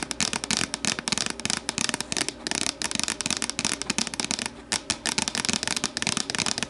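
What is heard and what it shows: Long nails tap and scratch the sides of an empty, hollow, translucent plastic deli container standing upright. A rapid run of sharp, dry clicks mixes with bright, crackly scraping, each tap dying away almost at once, with little low end.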